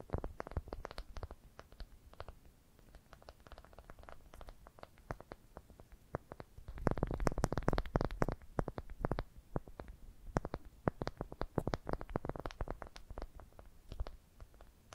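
Long dark painted nails tap and scratch around the surface of a smooth, light-colored, palm-sized solid wooden ball held in both hands. Many dry, short clicks and scrapes come in quick, uneven bursts, denser and louder in the middle and later stretches. The sound is soft and dull, weighted toward low tones with little high-end sparkle.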